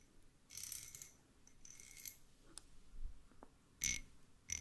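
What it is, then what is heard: Metal screws. Two small, solid, threaded steel screws of the same kind are held between fingertips close in front of the mic and rubbed and scraped against each other. The result is a series of bright metallic scraping bursts with high, glinting ringing tones. Quieter gaps fall between the bursts, and a sharper clink comes near the end.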